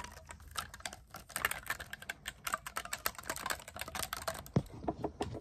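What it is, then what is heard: Clarinet keys tapped. Fingertips rapidly press and tap the silver metal keys of a black clarinet, a hollow tube briefly tilted sideways, producing a fast, irregular stream of dry clicks and taps. The clicks are short and crisp, with a louder, deeper knock near the end.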